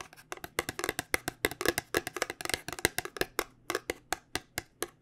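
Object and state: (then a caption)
Cardboard box. Fingernails tap quickly on the faces of a small white paperboard cube cosmetic box held in both hands. About 28 short, dry, papery clicks land in an uneven rapid rhythm, each bright and dying away almost at once. A faint low steady hum sits underneath.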